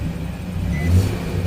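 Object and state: Nothing is struck.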